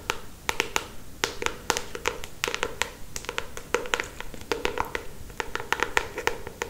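Long acrylic stiletto nails tap and scratch the glossy paper front cover of a solid paperback novel held upright. Quick, sharp clicking taps come in irregular bursts, each dying away almost at once, with soft scratchy rubbing between them.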